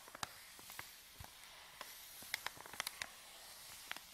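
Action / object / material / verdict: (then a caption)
scrape / folded paper bag / paper / none. Palm and fingertips press and rub a folded white paper bag, empty and flattened, lying on a table. A faint, steady bright hiss runs throughout, broken by scattered sharp, high crinkling snaps and crackles. The snaps cluster more densely in the second half.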